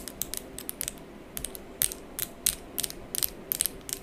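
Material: Acrylic.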